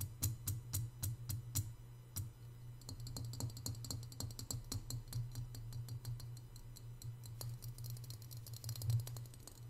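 A white glazed, hollow, hand-sized ceramic piggy bank resting on a marble table is tapped quickly on its sides and ears with both hands' fingertips and nails. Crisp, bright clicks start as separate taps and then run together into fast, dense tapping. A steady low hum sits underneath throughout.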